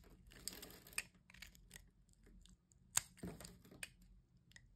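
A solid white bar of soap is held in the hand while a metal blade scrapes and slices it into fine crumbly shavings. The sound is a bright, dry scraping and crunching broken by sharp clicks, with the strongest snap near the three-second mark.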